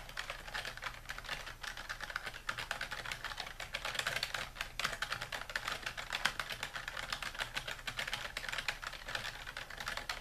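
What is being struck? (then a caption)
Plastic computer keyboard. Fingertips of both hands type continuously on a dark plastic computer keyboard resting on a wooden desk. A steady stream of quick, bright clicks and clacks with no pauses runs throughout, each keystroke dying away almost instantly over a faint low hum.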